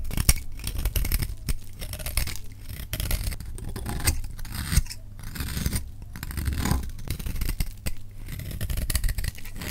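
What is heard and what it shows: A solid, dry green bar of soap held in the hand is scraped and shaved with a metal utility knife blade. The result is a steady run of dry, rasping scrapes over a heavy low rumble, with frequent short, crisp clicks and brief bright flicks as the blade cuts.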